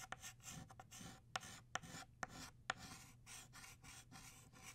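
An orange chalk stick is rubbed and scratched densely across a flat black chalkboard to fill in the center of a drawn flower. Short, bursty strokes of bright, gritty scraping follow one another, punctuated by a few sharp clicks as the chalk strikes the board. Over everything sits a low, steady hum.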